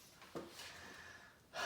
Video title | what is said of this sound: First Impressions - The Concrete Beehive | It is very solid. It sounds like stone.